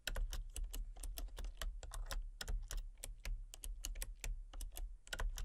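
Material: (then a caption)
Plastic. Fingertips with long painted nails type rapidly on a full-size backlit plastic RGB computer keyboard with hollow key switches and colour-cycling lights. About 26 quick, sharp, clacky key taps land in a steady run, each dying away almost at once. A low, steady hum sits underneath.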